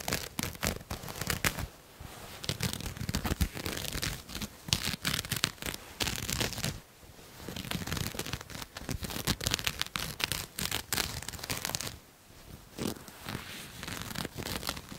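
Long nails scratch across a pink shiny satin jacket with floral embroidery, its thin soft fabric held up close to the mic. Dense, bright scratching and crinkling textures come in rapid bursts with brief pauses.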